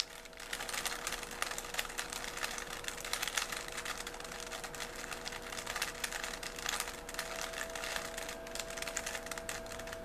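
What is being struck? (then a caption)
Plastic puzzle cube. A small, solid 3x3 plastic Rubik's cube with colored stickers is held in both hands while fingertips twist its layers. Rapid, bright plastic clicks and clatters come in dense bursts over about ten seconds, with a faint steady tone beneath.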